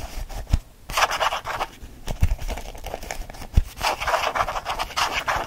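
A small lilac faux leather change purse is scratched with fingernails and squeezed in the hand. Quick bursts of dry, rasping scratches alternate with short pauses, and a few soft low thumps come through as it is gripped.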